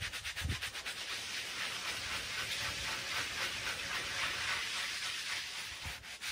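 A kneeling man scrubs the pile of a small, wet, Persian-style woven rug of wool-type textile, about 1 m long, lying flat on a soapy plastic sheet, rubbing back and forth with a handheld scrub brush. The result is a steady, bright, hissing scrub with fast rhythmic strokes of about four per second, plus a few soft low thumps near the start and end.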